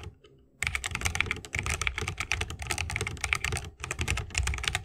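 A 60% mechanical keyboard with a bamboo case, plastic keycaps and Holy Panda switches is typed on continuously with the fingertips of both hands. After a short quiet start, a dense, rapid stream of bright, crisp key clicks with a low thocky body fills the clip, broken by a brief pause near the end.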